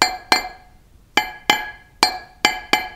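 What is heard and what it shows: A block of Portland limestone with a shake, a hidden crack that runs along a line in the stone, is tapped seven times. Each tap gives a bright, glassy clink with a brief ring that fades quickly. The ring gives away the crack that cannot be seen.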